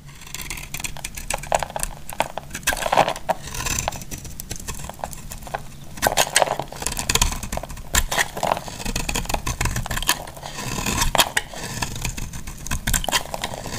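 A solid, hand-sized, semi-dry orange soap bar is held in a hand with long dark nails and shaved with a metal utility-knife blade, its shavings crumbling off. Dense, rapid scraping and cutting crackles run throughout, with short, dry, bright bursts and several sharper crisp strokes that stand out.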